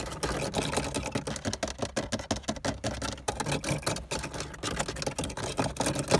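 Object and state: Plastic car dashboard, hollow molded panel.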